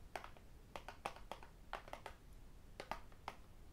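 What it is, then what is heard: Tablet with glass screen and aluminium back. A thin, flat tablet with a glass screen, aluminium back and metal frame is held and tapped on its screen and edge with fingertips and metal rings. Short, sharp, clicky taps come in irregular clusters. Each tap dies away almost at once over a quiet low background.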